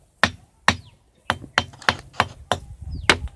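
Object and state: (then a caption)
Ringing rock. A ringing rock, a boulder at Obul Keshvapur, is struck repeatedly, giving a series of sharp, bright knocks at an uneven pace. Each strike carries a brief high tone around 2 kHz that dies away quickly.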